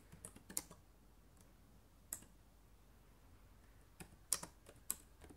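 Long nails type and click on the plastic keys of a black laptop keyboard. Sharp, bright clicks come in short, scattered clusters with quiet low hiss between them, and each tap dies away almost instantly.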